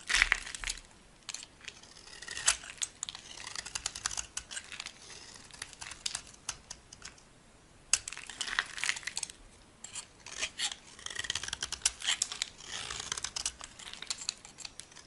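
A solid, rounded, dry white bar of soap held in the hand is carved with a metal box-cutter blade into crumbly flakes. Bursts of dry, bright scratching and crunching cuts come in quick, uneven clusters with brief pauses between them. Each scrape stops short with no ring, and there is almost no low end.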